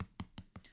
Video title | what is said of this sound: Ending The Year Strong! Air Jordan 11 'Gratitude' In Depth Review and On Feet. | it actually comes as like its own piece so I can tap it and you hear like a solid structure